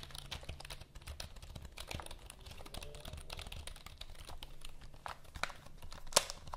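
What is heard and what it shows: Long nails tap and scratch across the keys of a black plastic full-size computer keyboard held vertically. The result is a dense, quiet stream of rapid dry clicks and scratchy rasps with a bright edge over a steady low hum. One sharper, louder click stands out near the end.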